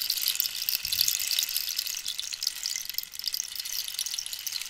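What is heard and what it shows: A hollow cactus-wood rainstick is held horizontally and tilted, so the filling inside runs through it. It makes a steady, bright, hissing patter like rain, with nearly all the sound high-pitched and no low end, continuing throughout.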